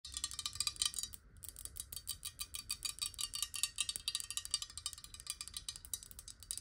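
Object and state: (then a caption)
Glass water bottle. A clear, hollow square glass bottle, partly filled with water and held in the hands, is fast-tapped with long acrylic nails. Dozens of quick, bright, high-pitched clicks with a faint glassy ring follow each other steadily, with a brief lull near the one-second mark.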